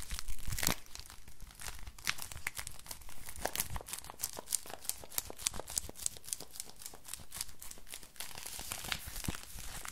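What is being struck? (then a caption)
Thin flexible plastic crinkle book. A thin, flexible silver-grey crinkly plastic book is scratched and bent with fingertips and nails. The result is a continuous stream of bright crinkling and tearing-like crackles, punctuated by many sharp ticks and scratches.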